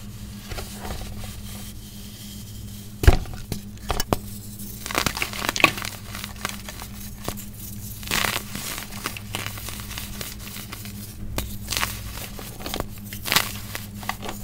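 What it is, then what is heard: Packed baking soda block being crumbled. A large, solid block of compressed white baking soda in a steel bowl is broken apart and crumbled with bare hands and fingertips with short painted nails. Irregular dry crunches, crackles and gritty crumbling sounds come over a steady low hum, with the sharpest crack near the three-second mark. The block gradually breaks down into loose crumbs.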